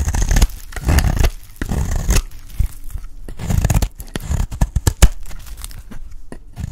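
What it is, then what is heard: Dry soap bar scraped with a blade. A metal blade scrapes the edge of a solid blue rectangular bar of dry soap held in the hand, shaving it into chunky flakes. Dry, crunchy, tearing rasps come in uneven bursts, broken by sharp crackling snaps and short pauses. The sound is mostly low and dull, with little high-end brightness.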